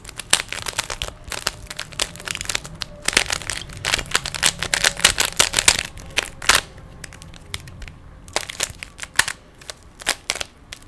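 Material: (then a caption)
Plastic. Fingertips quickly turn the layers of a small, solid plastic 3x3 Rubik's cube, producing rapid bursts of bright, sharp plastic clicks and rattles. The clicking is densest in the middle of the clip. It then thins out after a short lull into scattered, separate clicks near the end.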